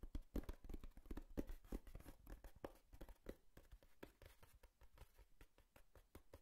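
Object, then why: Corrugated cardboard box. Long nails tap and scratch the surface of a hollow brown corrugated cardboard box with tape. Soft, dull, low taps come fast and unevenly over a dry scratching rustle, with no ring after each tap. The sound is louder in the first two seconds, then settles quieter.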